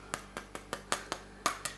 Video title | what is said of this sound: How to Make Edible Gelatin Bubbles | Look how hard they go. And you'll know that they're ready.